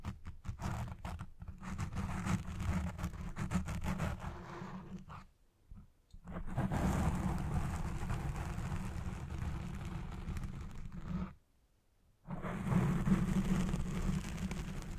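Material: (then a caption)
Foam. Long red nails scratch and dig into the top and front of a black foam microphone windscreen on a Blue Yeti Pro, first with one hand and then with both. The result is a dense, muffled, low rumbling scrape with rapid crunchy rustling. Two brief near-silent pauses break it up, around 5.5 seconds and again just before 12 seconds.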